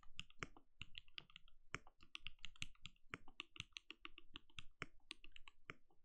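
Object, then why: Plastic mechanical keyboard. A compact backlit mechanical keyboard with plastic keycaps and a translucent glowing case is typed on rapidly with the fingertips of both hands. Quick, dry key taps follow one another in a steady stream, each with a short low thock and a bright click on top, and almost no ring after each press.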